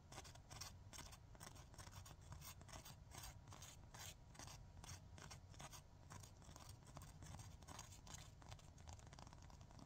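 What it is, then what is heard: Emery nail file. Fingernails scratch and rub rapidly across the abrasive surface of a long, flat, gritty 100/180 emery nail file held in both hands. Quick, bright rasping strokes repeat steadily over a constant low rumble, producing a dense, continuous scratching texture throughout.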